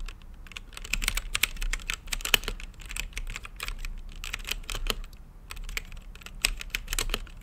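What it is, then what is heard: Mechanical keyboard with plastic keycaps. Fingertips type steadily on an RGB mechanical keyboard with plastic keycaps set in a clear acrylic case. Rapid, uneven keystrokes make sharp, bright clacks that die away almost at once, over a faint low hum.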